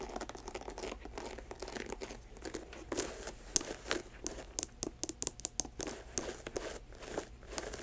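Long nails scratch and tap the leather upper of an empty white leather sneaker with an air-cushion sole. Dry, crinkly scratching runs throughout, broken by many short, bright taps that stop instantly with no ring.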